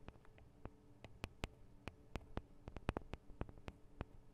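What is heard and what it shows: Long acrylic nails tap on the two small cylindrical metal microphone capsules of a Tascam DR-40 recorder. The result is an irregular string of about nineteen quiet, sharp, dry ticks, roughly two per second, each with a low thump and a brief bright click that dies away almost instantly over a faint low hum.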